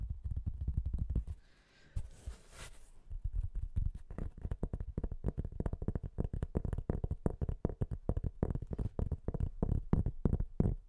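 Fingernails tap rapidly on the surface of a white-veined, patterned cork board held in both hands in front of the mic. The result is a fast, continuous stream of dull, deep, close-up knocks. A short bright, hissy rustle breaks in around the two-second mark before the tapping resumes.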